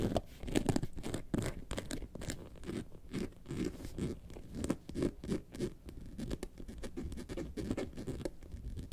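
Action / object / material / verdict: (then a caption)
scrape / faux leather carton-shaped bag / faux leather / none. Long nails scratch the textured surface of a hollow, yellow faux leather bag shaped like a lemonade carton, which is laid on its side partway through. The result is a rapid run of dry, crunchy scratching strokes with a muffled, low-mid body, little brightness and almost no ring after each stroke.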